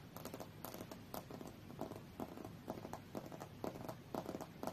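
Long fingernails tap on the glass screen of a thin, solid tablet lying flat, screen up, on a fur rug. The taps come as short, dry clicks with a mid-pitched tick and a faint bright edge. They fall in an uneven, quick series with little ring after each one.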